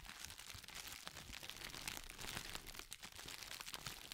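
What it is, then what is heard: Crinkling plastic sheet. A thin, clear, textured plastic packaging sheet, folded and held in both hands, is crinkled and squeezed by fingertips as it moves from one side of the microphone to the other. It gives a continuous, bright, dense crackle with many quick crinkles and little low end, briefly thinning near the three-second mark.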